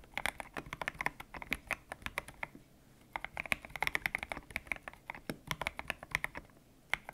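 Fingertips type on a white-cased mechanical keyboard with grey and pink PBT plastic keycaps, its hollow case resting on a desk mat. The keystrokes are quick, bright clacks with a slight ping around 2.3 kHz and very little low end. Each hit stops almost instantly, in bursts broken by brief pauses near the three- and six-and-a-half-second marks.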